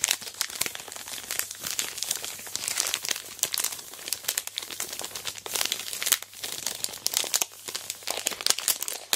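A large sealed Aero Mint chocolate bar in its plastic wrapper is lifted, rotated and squeezed in hands with long black nails. The packaging gives a steady run of bright, dry crinkles and sharp crackles with almost no low end. Each crackle stops instantly, with no ring.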